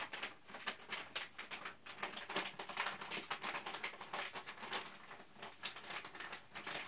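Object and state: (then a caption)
Plastic bag being crinkled. A printed plastic Ziploc Zip'n Steam bag is held up and crinkled and bent with the fingertips of both hands. The result is a steady stream of quick, bright crackles and rustles with almost no low end. Each crinkle dies away almost instantly.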